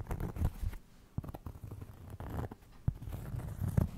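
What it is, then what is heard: Cork trivet. A round, flat, solid cork trivet is held in both hands in front of and beside a microphone and scratched and tapped with fingertips and nails. Soft, dull scratching and rubbing mix with a few sharper, muffled taps, all low and thuddy with almost no bright content.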